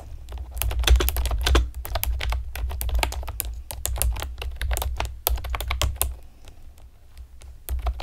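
Long painted nails and fingertips type rapidly on a pastel plastic typewriter-style computer keyboard with round retro keycaps and hollow keys. The result is a dense run of sharp, bright clicks and clacks over a steady low hum.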